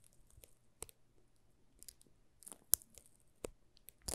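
Thumbs rub and crinkle the plastic film wrapped around a solid green soap bar held in both hands. Quiet, bright, irregular crackles and crisp snaps rise over a soft rustling bed, with a few sharper pops standing out near the end.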